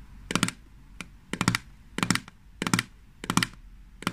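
Long fingernails tap and scratch the lid of a small green plastic jar of hand cream held in the hands. Seven short bursts of rapid, crisp clicking taps come at an irregular pace, each dying away almost at once into quiet.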